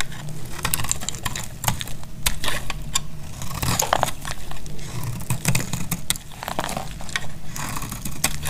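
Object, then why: Bar soap shaved with a knife blade. A palm-sized bar of solid, dried purple soap is shaved along its face with a metal utility knife blade. Quick, dry, crackly scraping bursts and sharp clicks follow one another over a low, steady rumble. The shaving continues throughout the clip.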